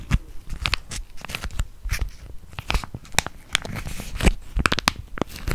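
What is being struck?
Foil plastic laminate sachet.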